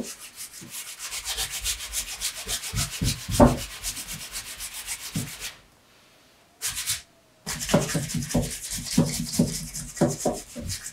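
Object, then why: Leather shoe upper. A bare palm rubs and polishes the leather upper of a dark brown pebbled leather Allen Edmonds MacNeil wingtip shoe for Brooks Brothers, with a shoe tree inside. Quick, steady swishing strokes carry a bright, dry rasp over soft low thumps. The rubbing stops for about a second of near-silence, gives a brief burst, and then picks up again with firmer, punchier strokes.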